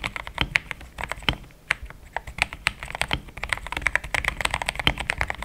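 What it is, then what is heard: Plastic mechanical keyboard. Fingertips of both hands type steadily on a compact pink-and-cream plastic mechanical keyboard with thick XDA-profile keycaps, Gateron Yellow switches and a polycarbonate plate, resting on a desk mat. A quick, uneven stream of short, bright clacks peaks around 2 kHz and stops dead with almost no ring. A faint low thump sits under each keystroke.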